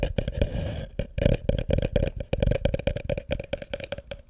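Fingertips and nails tap and scratch the outside of a small hollow wooden bucket set upside down over a microphone. A short stretch of dry scratching gives way to a quick, uneven run of close, hollow knocks. Each knock is boomy and muffled with a woody midrange ring, and dies away almost instantly.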